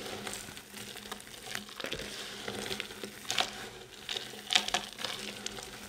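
Bare hands squeeze, crush and rub a heap of small, solid, multicoloured dry soap chips and crumbs on a white surface. A dense, bright crackling and crunching runs throughout, with sharper crunch bursts standing out near the middle and later in the clip.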